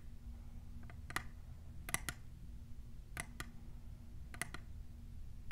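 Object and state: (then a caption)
Plastic tumbler cup. A tall, clear, hollow printed plastic tumbler is tapped by long nails fitted with plastic clips. Each tap gives a short, dry click with a ring near 2 kHz and bright edges, arriving in pairs and small clusters over a steady low background rumble.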